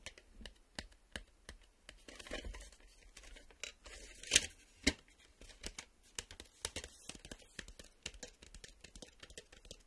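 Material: Cardboard.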